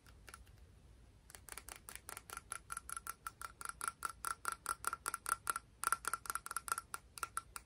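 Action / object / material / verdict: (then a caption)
tap / cone seashell / shell / none. A small, hollow, orange-brown patterned cone seashell is held in both hands and tapped and scratched with long pink fingernails. After a few faint scratchy ticks, about thirty quick, bright, clicky taps follow at an uneven pace, each with a short glassy ping near 1.4 kHz.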